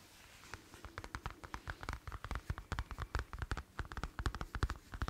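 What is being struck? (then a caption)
Leather wallet. A black leather wallet, palm-sized and flat, is held up in both hands while fingertips and nails tap and scratch its surface. About thirty quick, dry, irregular taps are heard, each a soft low thump with a brief bright click, over a faint scratchy hiss at a quiet level.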